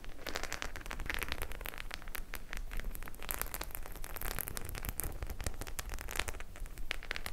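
Long nails scratch across the studded surface of a white studded faux leather clutch bag. The sound is a dense, continuous run of crackly, rustling scrapes with many quick clicks and a low rumble underneath, staying fairly even in level throughout.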